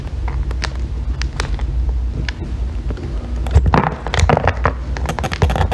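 A thin metal extractor tool shaves a solid green bar of soap, peeling off curls. Short, dry scraping crackles repeat over a steady low rumble, growing busier and denser toward the end.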